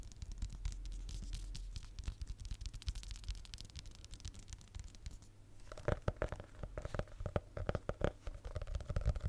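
Fingertips and nails tap and scratch the cover of a small red hardcover notebook held near the mic. The sound is a dense run of quick, dry taps and soft scraping with a strong low thump. After about six seconds the taps grow louder and more hollow, with a faint ringing tone.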